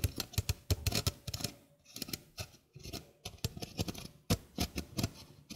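A small, hollow stainless steel mesh sink strainer is held in the hand while its mesh is scratched with nails. Quick bursts of dry, bright scratching clicks over a soft low body stop almost instantly, pausing briefly in the middle before resuming.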